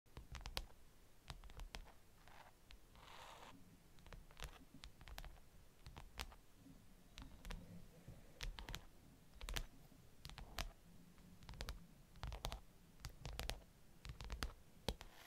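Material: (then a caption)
Glass. Long pink acrylic nails and fingertips from both hands tap and drum across the glass screen of a large iPad in an aluminium frame, lying flat on purple fabric. Quiet, sharp, bright clicks come in an irregular patter over a low, dull rumble, with a brief soft brushing sound early on. Each click dies away almost instantly.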